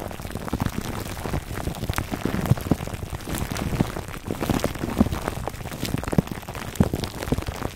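Fingertips scratch a foam microphone cover wrapped in clear crinkly plastic film, producing a steady stream of dense, irregular crackles and ticks. The sound is mostly low and muffled, with sharp transient pops throughout and no pause.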